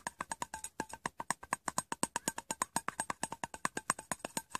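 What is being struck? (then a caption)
Small round metal tin with lid. Painted nails and fingertips tap the side and lid of a small, plain, round, hollow metal tin held in the hand. About 39 quick, crisp taps come in an uneven, steady stream, each a bright click with a short tonal ping near 1 kHz that dies away almost at once.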